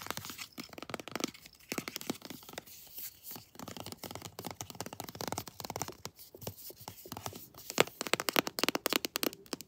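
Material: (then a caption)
Plastic. A pink "Sweet Pea" textured plastic lotion tube, laid flat with its back label showing, is tapped and scratched with long nails. Rapid, irregular crackly taps and scratchy rasps run throughout, bright and dry with almost no ring. The sounds grow louder and sharper toward the end.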